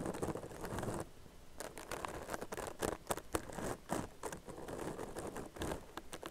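Long nails scratch rapidly over the crochet texture of a tan crocheted yarn purse that is soft and hollow. A dry, crackly rustle rises and falls in quick bursts, with sharp bright scrapes standing out over a soft, close patter, and each sound stops almost at once.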